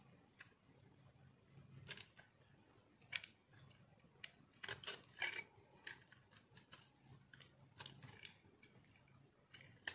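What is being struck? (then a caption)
Bar of soap scraped with a metal knife. A metal knife blade scrapes and shaves crunchy flakes off a hand-sized, solid white chunk of dry soap held in one hand. Quiet, bright, dry scratching runs throughout, broken by short crisp crunches that stop almost instantly, over a low hum.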